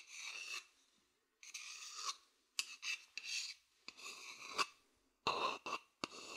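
A thin wooden stick scratches the outer surface of a hollow, empty wooden bowl held close to the mic. The result is a series of dry, bright, raspy scrapes of varying length separated by brief silent pauses, with almost no low end.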